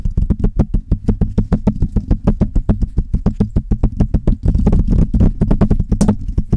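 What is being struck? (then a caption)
Metal mesh microphone grille. Long red nails on both hands tap and scratch the hollow metal mesh grille of a Blue Yeti microphone. A rapid, uneven run of short taps lands as deep, boomy thuds with crisp clicks on top, and each one dies away almost instantly. Past the midpoint, steady scratching fills the gaps between the taps.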